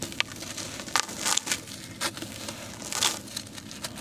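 A dry, porous grey sand-cement chunk, palm-sized and solid, is held over a basin of cement powder while fingertips and short nails scratch and crumble its edge. Bright, gritty scratching and crackling come in short, sharp bursts with almost no low end, as bits break off and fall away.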